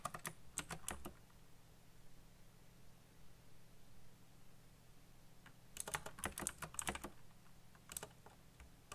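Fingertips tap rapidly on the keys of a backlit black plastic mechanical keyboard, making crisp, bright clicks with almost no ring. The clicks come in a quick flurry at the start, then a quieter stretch with only a steady low hum, followed by a second, denser burst near the end and a few scattered final taps.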